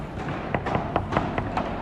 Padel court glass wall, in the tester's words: approchez-vous et nous écouterons le bruit qu'il fait. Ça ne sonne pas!